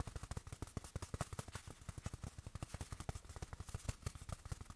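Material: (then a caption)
Fabric. A small padded black fabric watch pillow, held in the hand, is tapped quickly and unevenly with the fingertips. A dense run of soft, muffled low thumps stops almost instantly, with very little bright content.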